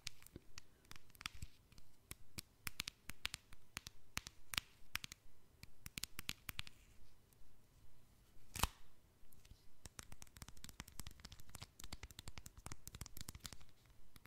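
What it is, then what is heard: Slider mobile phone with metal and plastic casing. A small, hollow red slider cell phone with a metal and plastic casing is held in one hand and tapped with the fingernails of the other hand. Dozens of quick, sharp, dry clicks come in irregular bursts, with short pauses between them. Each tap is bright and dies away almost instantly, with a soft low thud underneath.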